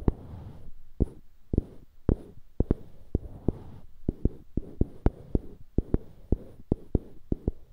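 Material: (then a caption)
Wood. Fingertips scratch the faces of two identical solid light-wood cubes on dark-wood handles, held beside a binaural mic. Soft, low scraping rustles are broken by about 21 short, dry taps, each dying away almost at once.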